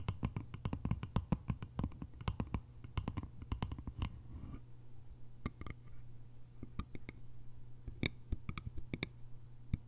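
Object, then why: Small hollow bamboo container with lid. Long nails tap the top and sides of a small, hollow, cylindrical bamboo container with a lid. The taps are quick, dry clicks that die away almost instantly. They come in a dense flurry for the first four seconds, then arrive more sparsely over a faint steady low hum.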